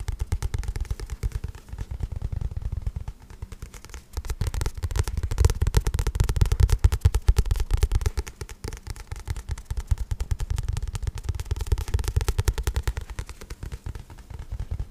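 Fingertips tap rapidly on the glossy card cover of a paperback book held in both hands. The result is a dense, uneven stream of soft, dull, low thumps with very short decay and almost no bright content, swelling louder in the middle and easing off toward the end.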